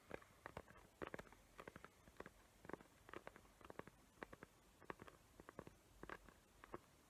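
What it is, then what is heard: Glitter-covered cardboard box. Long nails tap and scratch the lid of a small square cardboard gift box covered in glitter paper and decorated with hot-glue trees. The result is a quiet, irregular run of short, dry clicks with brief scratchy rasps, sitting mostly in the mids with a faint gritty edge and no ring after each touch.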